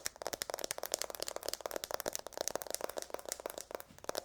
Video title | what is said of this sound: ASMR - Aggressive Nail Tapping with Long Nails | The metal side has kind of like a high-pitched tone to the taps